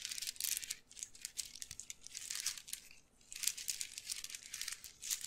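A dark brown handbag woven from glossy wooden beads, with a bead chain strap, hollow and apparently empty, is squeezed and shaken with the fingertips close to the mic. Its beads rub and clack in dense, bright, crinkly rattling bursts, with brief quieter lulls near one and three seconds. The sound is almost all high and crisp, with no low body and very short ring.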